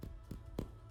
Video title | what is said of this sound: How To Make Bread - Luyện Nghe Tiếng Anh Theo chủ Đề - Learn English | I wanted to hear that hollow sound